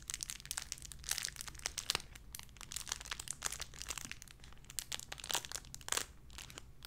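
A small clear plastic bag wrapped around a small white figurine is crinkled and squeezed between fingertips with long red nails. Dense, bright crackles and crinkles come in quick irregular bursts, each snapping off almost instantly, over a faint steady low hum.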